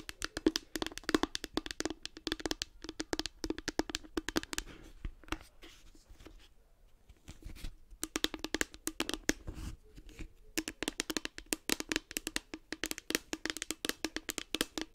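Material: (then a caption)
Hard plastic. A light blue hollow hard plastic case with a cartoon face is tapped with long nails and fingertips while held close to the microphone. Rapid clicky taps ring briefly with a hollow resonance around 316 Hz and bright clicks. They come in dense bursts, with a quieter, scratchier stretch in the middle.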